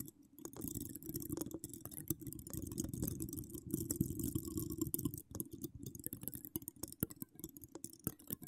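Long acrylic nails scratch and tap the hollow steel mesh grille of an uncovered microphone from both sides. A dense, low, rustling scrape runs almost continuously, broken by many sharp, quick-fading clicks with bright edges, and it briefly thins out just after the midpoint before the scratching and tapping resume.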